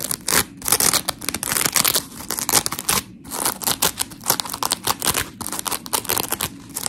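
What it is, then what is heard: Polymer foam scrub sponge. Long pink nails scratch a blue-and-white smiley scrub sponge of coarse polymer foam while hands squeeze it. The result is a steady run of rapid, gritty, bright scratching bursts with a dry, tearing texture and very little low end. Brief pauses fall around the half-second mark and just after three seconds.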